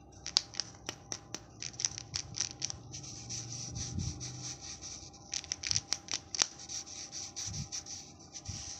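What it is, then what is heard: Glitter foil wrapper on a plastic egg. Fingertips rub and scratch the rough surface of a hand-sized, unopened plastic Kinder Joy egg wrapped in silver glitter foil, held in both hands. A steady bright, crinkly scratching hiss runs throughout, broken by a series of sharp, high ticks where the foil catches. Faint low thumps come from handling the egg.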